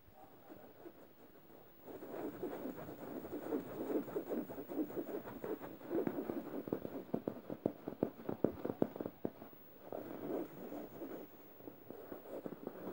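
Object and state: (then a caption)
Plush fabric pillow scratched. Fingernails scratch the felt appliqué mouth of a medium yellow stuffed emoji cushion made of soft plush fabric. The scratching is soft, dry and muffled, sitting in the low-mid range, with rapid, irregular strokes that turn sharper and more pronounced in the middle before easing off again.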